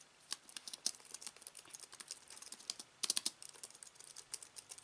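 Fingertips type rapidly across a slim aluminium keyboard with white plastic keys resting on fabric, producing a quick stream of light, bright clicks with almost no low end. The keystrokes are short and dry, with a brief dense burst of clicks near the middle.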